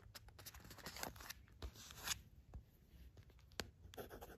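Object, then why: Thin cardboard package. Long pointed black nails scratch and tap across the printed surface of a small, thin, flat gold cardboard sandalwood incense package, held and then lying on a fluffy rug. Quiet, dry, bright scratching rasps alternate with short sharp clicks that stop almost instantly, over a faint low rumble.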